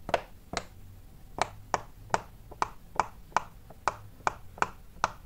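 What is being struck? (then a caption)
Silicone pop-it fidget toy. Fingertips press and pop the small hollow bubbles of a large square rainbow-striped silicone pop-it fidget toy, working along rows. Twelve short, crisp, snapping pops come at uneven intervals over about five seconds, each with a mid-pitched hollow click near 880 Hz, a bright edge and almost no ring, over a quiet background.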